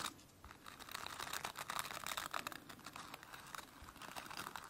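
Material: Plastic.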